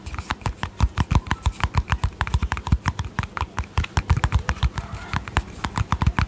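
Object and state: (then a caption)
Plastic cream tub tapped with fingernails. Long painted fingernails tap rapidly on a small, hollow, round white plastic cosmetic tub with a yellow lid. Dozens of quick, dry taps sound as short clicks over a low, hollow thump, each dying out almost instantly with no ring.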